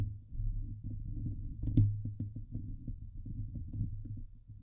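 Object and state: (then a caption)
Metal mesh microphone grille being scratched. Long nails scratch the hollow steel mesh dome grille of a Blue Yeti microphone, producing a dense, muffled, low rumbling scrape layered with quick soft ticks. One brief brighter scratch stands out near the middle before the steady rasping continues.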